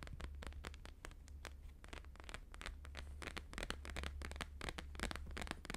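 A thin, flexible, flat square sheet of plastic-laminated holographic paper lies on a fur rug and is tapped quickly with the fingertips and nails of both hands. The result is a dense, irregular stream of short, crisp clicking and crackling taps reaching into the highs, over a steady low hum.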